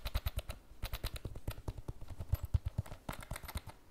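Long fingernails tap a hollow, iridescent holographic PVC pencil case held over the table in a quick, uneven run of about two dozen taps. Each tap is a short, dull, low thump around 90 Hz with a faint bright click on top that dies away almost instantly.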